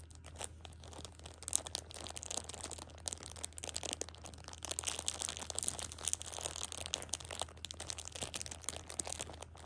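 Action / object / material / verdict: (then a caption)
scrape / plastic-film-wrapped pack of pocket tissues / plastic film / none. A plastic-wrapped six-pack of pocket tissues is held in one hand while a thumb with a long nail squeezes and crinkles the film. Dense, bright crackling and crunching runs throughout in quick, uneven bursts, over a steady low hum.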